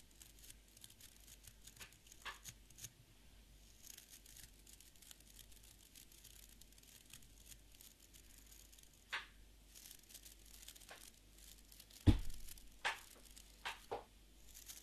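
A small beard brush with an orange wooden back and stiff fibre bristles is held in one hand while fingertips and nails scratch and flick the bristles. Soft, dry scratching crackles run quietly throughout, broken by sharper, brighter bristle flicks, and the loudest snap comes near the twelve-second mark.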